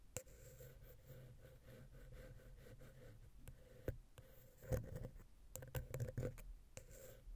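A wooden ear pick scratches the metal mesh grille of the small, hollow silver XY capsule on a Zoom H6 recorder. Low, close scraping runs throughout with a faint steady tone near 500 Hz, broken by sharp light clicks that grow denser and louder toward the end.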